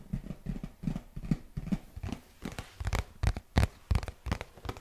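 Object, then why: Cardboard box. Fingertips and nails tap and scratch a hollow printed cardboard product box right beside the microphone. The clip is a run of soft, dull, low thuds with short bright scratchy edges. The taps come at an uneven pace and grow firmer toward the end.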